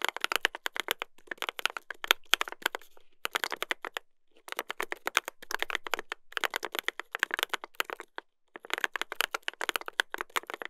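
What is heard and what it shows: A Dolphin 2021 mechanical keyboard with a brass plate and plastic keycaps, black alphas and white modifiers, is typed on with the fingertips of both hands. Rapid, bright, sharp clacks come in bursts of quick keystrokes with brief pauses between them. Each press stops almost instantly, with little low-end weight.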